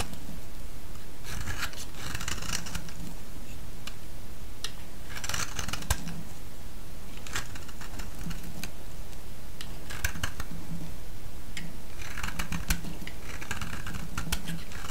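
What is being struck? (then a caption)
Bar of soap. A solid, palm-sized yellow bar of soap is shaved with a utility-knife blade, sending curls off the bar. Repeated crisp scraping and cutting strokes come in bright, rasping bursts over a steady low rumble.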